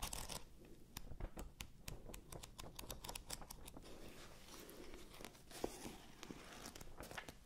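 A thick paperback book with a red and blue cover has its pages flipped and riffled by hand close to the mics. A rapid series of crisp, dry paper flicks and soft rustles plays over a low, steady rumble, with each flick bright and short and dying away almost at once.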